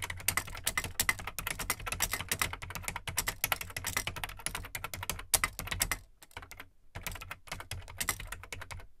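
Fingertips type quickly on the plastic keycaps of an Amstrad CPC 464 home computer, a large hollow black plastic case. Dense, bright clacking keystrokes ride over a low, hollow thump, with a brief slowdown and pause around the six-second mark before the typing picks up again.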